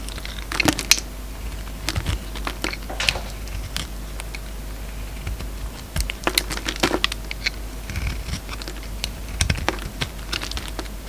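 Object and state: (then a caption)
Bar of soap scraped with a blade. A peach solid soap bar held in the palm is scraped with a utility-knife blade, peeling off thin ruffled shavings. Quick dry scratchy strokes and crinkly flicks come in uneven bursts, each with bright, crisp edges and almost no ring, over a faint steady low hum.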